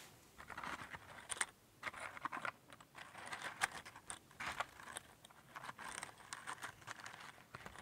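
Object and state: Cardboard matchbox.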